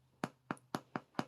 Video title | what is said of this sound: Homemade Bread on the Homestead | this bread is done. You can tell it's done. Hands are washed, promise. Because you can tap it. And you hear it's hollow.